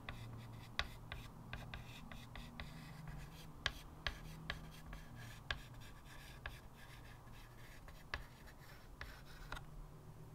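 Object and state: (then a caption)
Chalk drawing on a chalkboard. Fingertips hold a small white chalk stick and scratch short strokes across the matte surface of a square blackboard in a light wood frame, lying flat on a table. Quick, dry, bright chalk scratches and ticks sound in an irregular series over a quiet, low background hum.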